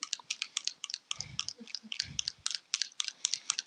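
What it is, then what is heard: Paint bottle with mixing ball rattling inside. A small 30 ml bottle of acrylic paint is shaken, and the mixing ball inside rattles against the walls. It makes a fast, irregular run of sharp, bright clicks with almost no low end. Between about 1.1 and 2.5 seconds there are brief low thumps.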